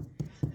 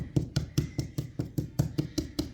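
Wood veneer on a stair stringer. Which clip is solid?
The first.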